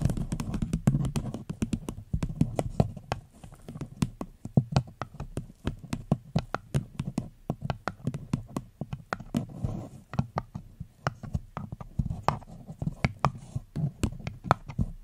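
A small, hollow, empty paper cup with a floral pattern sits upside down and is tapped with long fingernails on its sides and base. The result is a rapid, irregular run of soft, dull, hollow clicks, with very short ring and a low body around 140 Hz.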